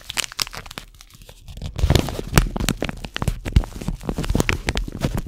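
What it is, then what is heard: Crinkled paper tea bag packet. A single small, flat, hollow paper tea bag wrapper (Caramel Apple Pie) with a sealed tea bag inside is held in both hands and crinkled and rubbed with the fingertips. Close, dry crinkles and sharp crackles come in dense bursts with a low papery rustle underneath. They ease into a softer rubbing lull around the first second, then return louder and busier until the end.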